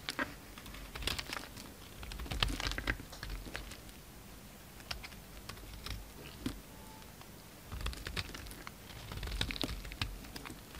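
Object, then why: Bar of soap shaved with a knife blade. A utility knife blade shaves thin flakes from the surface of a solid pink soap bar held in hand. Crisp, dry scraping and crackling ticks come in bursts, with louder clusters early and near the end and quieter, scattered scratches in between.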